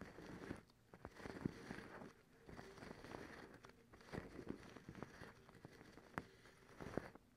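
Long acrylic nails scratch and pluck a white cotton terry cloth towel. The result is a quiet, dry, scratchy rustling broken by sharp little plucks and clicks.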